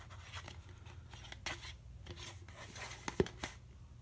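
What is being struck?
Plastic juice bottle.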